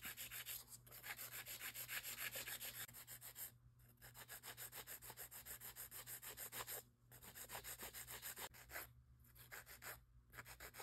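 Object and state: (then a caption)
Acrylic nails being filed. A gloved hand files long square nude acrylic nail extensions with a grey abrasive nail file, working along the side walls and undersides. The result is a steady, fast, rasping scratch, bright and hissy, with short pauses between bursts of strokes.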